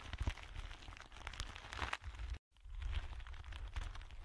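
A thin clear plastic film or bag is spread between both hands while fingertips stretch, crinkle and rub it. Dense crinkling and crackling runs throughout over a low, rumbling handling noise, with a brief silent break partway through before the rustling resumes.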